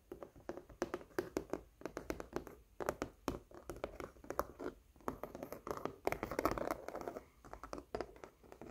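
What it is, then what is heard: Textured acrylic painting on canvas. Fingernails tap and scratch across a red and yellow floral acrylic painting on canvas with a raised, textured surface. Quick, dry taps with almost no ring alternate with scratchy rasps, centered in the mids. The scratching grows denser and louder around the six- to seven-second mark before easing back into lighter taps.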